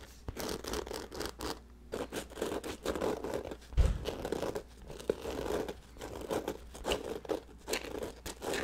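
Fingertips scratch and rub the surface of a black nylon fabric bag held by its handle close to the microphone. The result is a string of dry, crinkly scraping and rustling bursts over a low, steady hum, with one heavier, fuller brush partway through.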